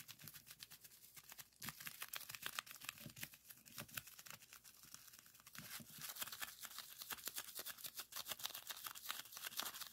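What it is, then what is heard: Plastic bubble wrap being popped. A roll of clear plastic bubble wrap is squeezed and twisted between the thumbs and fingers to pop the bubbles. Rapid, dense runs of sharp, bright pops mix with crinkling plastic. The popping grows busier and louder toward the end.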